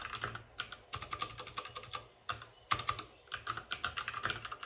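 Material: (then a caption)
Plastic. Fingertips of both hands type fast on a white RGB-backlit mechanical keyboard with plastic keycaps and a hollow plastic case. Rapid, bright, clacky key clicks come in quick bursts with brief pauses, each click sharp and dying away almost at once around a hollow 1.2 kHz tone.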